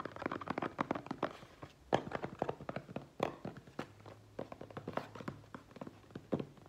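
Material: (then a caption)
Cardboard. Fingertips and short nails tap and scratch the flat faces of a small, closed brown cardboard product box with a printed logo and shipping label, held in both hands and apparently unopened. The result is a rapid, irregular series of dry, hollow taps with soft scratching between them. Each tap is short and mid-pitched, with little low end and almost no ring.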